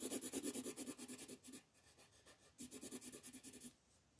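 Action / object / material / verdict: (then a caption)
scrape / colored pencil on a thin paper sheet / paper / none. An orange colored pencil rubs back and forth across a thin printed paper sheet lying flat on a dark wooden table, shading a football while the other hand holds the sheet. About 21 quick, scratchy strokes come in two bursts, about three per second, with a bright papery rasp over a low tone near 260 Hz. A quieter pause separates the bursts, and the sound fades out at the end.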